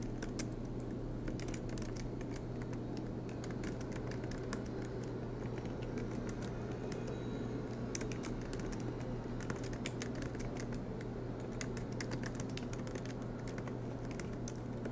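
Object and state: Laptop keyboard typing.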